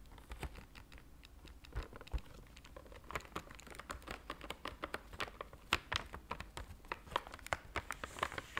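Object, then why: Cardboard chocolate box. A flat, square, white printed cardboard box of Belgian seashell chocolates is held up in both hands and tapped and scratched with fingernails. Quick, dry, irregular taps and scratches come in a steady stream, with short bright clicks and soft crinkling over a quiet low rumble.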